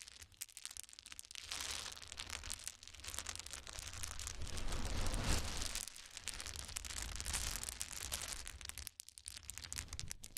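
A pile of many small solid wood cube chips on a towel is scooped up and poured from the hands, so the cubes clatter together in a dense, bright stream of tiny clicks over a soft low rumble. The clatter swells and eases in waves, peaking near the middle, and briefly drops away near the end before picking up again.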